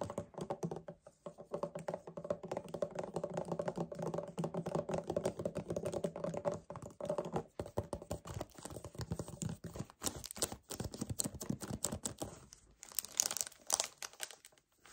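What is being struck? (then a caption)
Paperboard drink carton. Fingertips and nails tap rapidly on the front panel of a hollow 1 L white paperboard kefir carton. The dense, dry taps die away almost instantly, over a steady low-mid hum for the first half. Later the taps turn sharper and brighter, with brief pauses between bursts.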